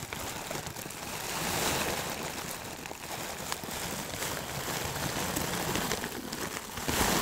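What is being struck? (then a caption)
Plastic bag of dried herbs. A clear plastic bag full of dry loose herbs is tilted and shaken so the contents shift and pour inside. The result is a continuous soft, broadband rustling and crinkling that swells and fades, with bright, hissy detail.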